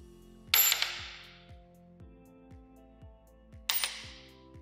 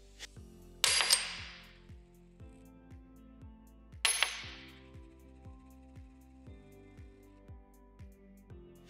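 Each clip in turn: First: Two coin drops, each a bright high clatter with a quick bounce, dying away fast: a dull copper-nickel coin. Second: Two coin drops, each with a quick bounce, give a bright high ring; the clear tone fits silver.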